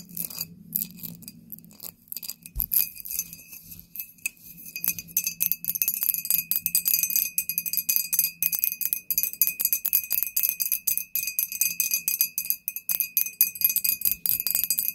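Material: Glass.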